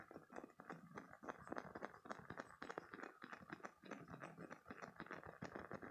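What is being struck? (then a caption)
Spiky silicone squeeze toy. A green, hand-sized spiky silicone squeeze toy is squeezed while its spikes are rubbed with fingertips and nails. The result is a steady, quiet stream of rapid rubbery squeaks, crackles and tiny clicks, centred in the mid range with bright scratchy edges.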